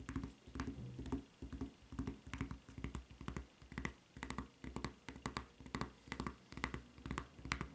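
A white rubber flip-flop with a red rubber strap and a solid, serrated-edged sole lies flat on a table while long red-painted nails scratch and tap across the sole surface and strap. Quick, dry taps and rasping scratches come in uneven bursts, with low thuds and bright clicky edges that die away almost at once.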